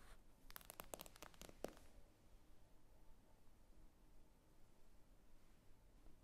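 Long nails tap the glass screen of an iPad lying flat, giving a quick cluster of sharp, bright clicks within the first two seconds. The taps are followed by a quiet stretch with only faint background hiss.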